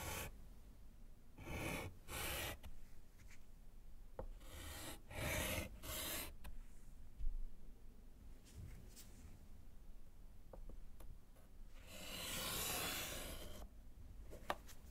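A gloved hand writes with yellow chalk on a small solid slate board set in a wooden frame, then draws a line. Bursts of scratchy, bright chalk strokes rise over a low rumble, separated by a few soft taps and clicks. A longer, steady scrape near the end is the drawn line.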